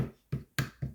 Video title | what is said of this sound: 107 - bezel setting a cabochon in a simple ring | in order to determine if your stone is in here snug you're going to tap it if you hear a second click